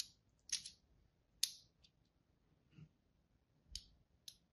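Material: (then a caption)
Soap. A thin blade tip is drawn across the surface of a palm-sized, solid green-and-white striped bar of soap held upright, cutting lines into it. Five short, bright scratching strokes are heard at an irregular pace, each quick and dry with almost no ring and little low end.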